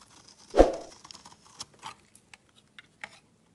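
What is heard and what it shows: A utility knife shaves dense, crumbly strips off a solid, opaque, yellow rectangular bar of soap. One loud, scraping crunch with a mid-range tone fades over a few tenths of a second, followed by a scatter of faint, crisp ticks and crumbles as the pieces break away.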